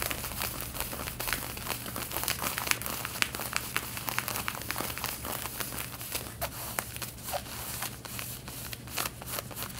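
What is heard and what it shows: Long red-painted nails scratch the back pockets and yoke of light blue denim jeans being worn. A dense run of quick, dry, bright scratches and crinkling rasps continues over a steady low hum.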